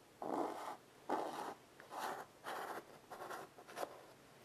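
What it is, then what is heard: Chalk on a wood-framed chalkboard. A chalk stick is scratched in short strokes across the surface of a small wood-framed blackboard resting on carpet. Each stroke gives a dry, scratchy rasp centered in the midrange around 860 Hz with a faint bright edge, separated by brief quiet pauses.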